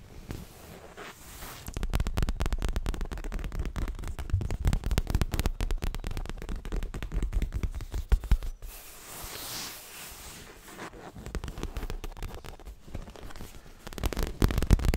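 Fast tapping on a leather pillow produces a dense run of short, dull, low thuds with little high-frequency content. The tapping eases into a quieter, softer stretch around the middle before picking up again toward the end.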